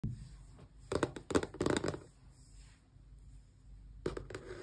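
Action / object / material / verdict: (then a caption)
scrape / small closed cardboard box / cardboard / none. Long painted press-on nails scratch and tap along the sides of a small, closed, hollow rectangular cardboard retail box for an Xbox controller lying on a towel. Quick, irregular bursts of dry, papery scratching and light tapping come in clusters, with quiet pauses between them.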